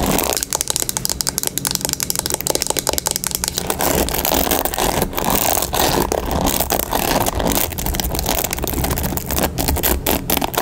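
Long pink nails rapidly scratch and tap across the black cushioned bristle pad of a turquoise plastic paddle hairbrush held in the hand. The result is a dense, steady stream of crisp, bright clicks and scratchy rustles with no pauses, over a faint low hum.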